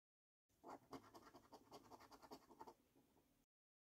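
A coin scratches the latex coating off the symbol boxes of a flat, thin cardboard £15 National Lottery Luxury Lines paper scratch card held by the fingertips. The result is a quick, uneven series of short, dry, quiet scrapes centred in the midrange with some bright grit. The scraping then tails off into softer, lighter rubbing.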